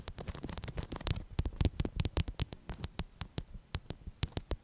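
A medium-size, stuffed black soft fabric throw pillow printed with "BOO" is scratched with long acrylic nails. It makes a rapid, uneven series of short, dry scratches, each with a soft, low, muffled thump beneath a bright, crisp scrape that stops almost instantly.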